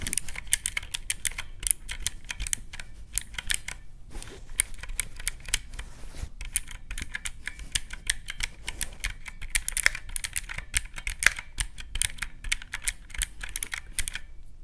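Fingertips press the round black keys of a teal plastic calculator with mechanical keys, producing rapid, crisp clicks with a bright top and a soft low thump beneath. The tapping runs almost nonstop for about fifteen seconds, with brief pauses near the 4- and 6-second marks, and each click stops sharply with no ring.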